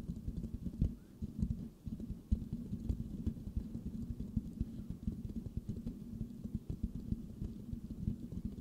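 Fingertips tap rhythmically on a hollow silver metal mesh microphone grille. They make a steady stream of soft, dull, low thumps with a muffled, boomy body and only faint crisp clicks on top. Each tap dies away almost at once.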